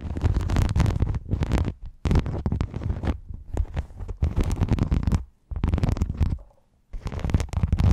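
Long nails scratch across a silver rhinestone mesh sheet held close over a foam mic, producing dense, crackly bursts of scraping with a heavy, boomy low rumble. The scratching comes in several long runs, broken by brief pauses around two seconds and five and a half seconds, and a near-silent gap before the last run.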